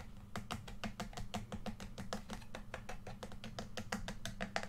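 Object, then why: Plastic game controller shell. Fingertips tap and rub the glossy back shell of a hollow red plastic PS4 controller, flipped over to show its back. The result is a rapid, steady series of short, dry plastic taps with bright clicky edges that die away almost instantly, over a low, steady hum.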